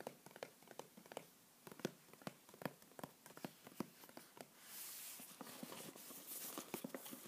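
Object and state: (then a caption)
Cardboard box. A small, hollow white printed cardboard mailer box is held and rotated while fingertips and nails tap and scratch its sides and edges. Quiet, dry, sharply separated taps come irregularly in the first half. Around the middle a soft, bright scratching hiss rises beneath the continuing taps.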